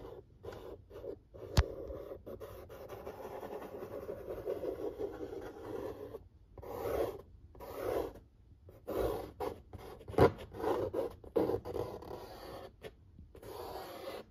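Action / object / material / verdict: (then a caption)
scrape / corrugated cardboard pizza box / cardboard / none. Fingertips slowly rub and scratch the printed surface of a large, flat corrugated cardboard pizza box lid. The result is a soft, papery friction sound in bursts with brief pauses between strokes, plus a couple of sharper scratchy ticks.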